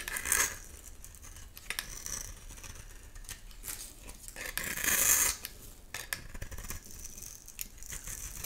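A metal blade scrapes the surface of a solid light-green oval bar of soap held in the hand, shaving off crumbly bits. The sound is a bright, crisp, crackling scrape made of quick irregular strokes, with louder bursts near the start and around the middle.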